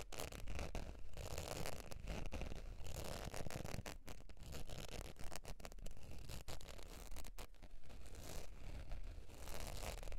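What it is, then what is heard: Faux leather wallet being scratched. Long pointed dark nails scratch and tap the face of a beige textured faux leather zip wallet lying on fur. The result is a steady, irregular stream of soft, dry scratching and quick, muffled taps with no pauses, mostly low-heavy with faint bright edges.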